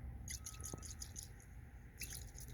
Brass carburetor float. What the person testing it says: you might be able to hear the fuel sloshing